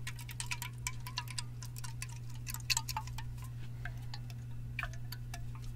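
A hollow Sparkling Ice black raspberry aluminum can is held and turned in one hand while fingertips and nails tap its top and lid. Rapid, light, bright metallic ticks and pings ring briefly, with a steady low hum beneath them.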